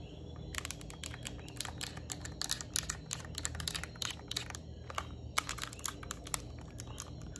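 Long nails tap rapidly across a yellow Nintendo Switch Lite plastic handheld game console, first on the front screen side and then along the top edge with its vents. The taps are dense, sharp, bright clicks that stop instantly, over a steady low background hum.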